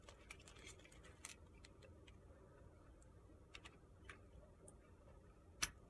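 A utility-knife blade shaves the sides of a narrow, solid, pale pink soap bar held in the hand. Quiet, scattered, brief bright scraping clicks sit over a low, steady background rumble, ending with one louder, crisp snap.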